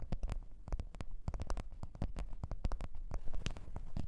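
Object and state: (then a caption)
Leather microphone case tapped and scratched. A black leather (likely faux) microphone case lying on white fur is tapped and scratched by long orange-red nails of both hands. It gives a steady, quick patter of soft, dull low taps with short bright clicks and light scratching between them, each tap dying away almost instantly.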